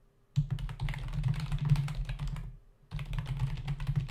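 Fingertips of both hands rapidly tap the hollow keycaps of a black plastic membrane desktop keyboard, making fast, dense clicking. The typing runs in two bursts separated by a brief pause. Each soft keystroke has a low thud under a light, bright click.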